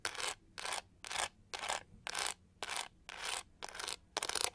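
Long nails scratch across the pyramid-textured studs on the pink-gold back of a hand-sized hollow plastic hair brush. Nine separate bright, raspy scraping strokes are heard, each about a quarter to half a second long, with short quiet gaps between them.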